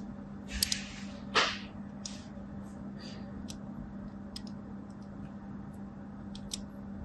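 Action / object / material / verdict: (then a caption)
scrape / bar of soap scored with a thin blade / soap / none. A thin blade drags diagonal score lines across a solid white and teal vertically striped bar of soap held in both hands with long pink nails. Short, crisp, bright scratching strokes sound at irregular intervals, the strongest one early on, with fainter ticks afterward. A steady low hum runs underneath throughout.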